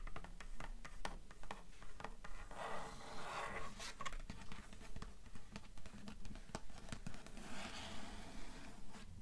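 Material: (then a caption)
Cloth, cardboard. Long nails tap and scratch the front board of a closed, solid grey hardcover book made of cloth-covered cardboard. Quiet, dry taps with almost no ring repeat in a fairly steady rhythm, each landing as a soft low thump. Brief papery scratching rasps run between them.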